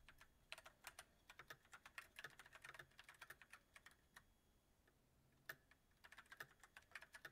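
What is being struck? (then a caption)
Mechanical keyboard with plastic keycaps. Fingertips of both hands type on a backlit mechanical keyboard with white plastic keycaps on a silver metal frame. Quick, crisp, bright clicks and clacks come in rapid bursts that stop briefly around the middle. The typing then resumes in a steady patter.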